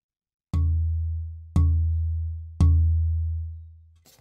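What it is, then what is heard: Denser cedar soundboard plate, higher tap pitch. A cedar soundboard plate with a density of 0.38 g/cm³ is tapped three times, each tap giving a low, sustained tone near 82 Hz that slowly fades, followed by a faint brief rustle at the end. This denser cedar plate has a higher tap pitch than a 0.30 g/cm³ piece of the same size.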